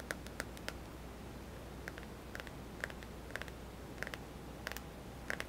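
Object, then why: Plastic smartphone with glass screen. Fingertips tap the glass screen and buttons of a small white touchscreen smartphone with a hollow plastic body, held in one palm. It makes a scattered series of short, dry, clicky taps with a bright edge around 1.5 kHz, each dying away almost at once over a quiet, steady low hum.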